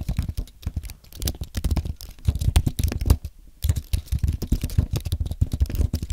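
Fingertips type quickly on a compact white aluminium and plastic Apple keyboard, producing a steady stream of soft, low, muted keystroke taps with very short decay. The typing runs continuously, with a brief pause just past the midpoint before resuming at the same pace.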